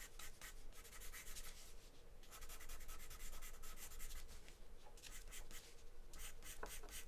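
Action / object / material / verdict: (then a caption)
scrape / wooden pencil on a paper drawing sheet / paper / none. A light wooden pencil scribbles and scratches across a large flat sheet of white drawing paper taped to a table, on which a charcoal portrait is drawn, while a loose cover sheet lies untouched to the side. Quiet, bright scratchy strokes come in rapid bursts with brief pauses, over a faint low hum.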